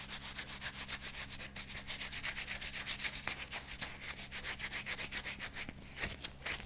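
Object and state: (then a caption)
Rubber dishwashing glove being rubbed. Bare fingers rub back and forth over the fingers of a thin, flexible light green rubber dishwashing glove worn on the other hand. The result is a continuous, bright, rasping rub made of quick, fairly steady strokes at about four per second, with a faint low steady hum underneath.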